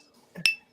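A 3D printed part made from an expensive specialty filament (about $140 per kilogram), very stiff and unbending, is flicked once with a finger. It gives a bright, metal-like ting near 2.7 kHz with a short ring that fades quickly, sounding more like metal than standard filament.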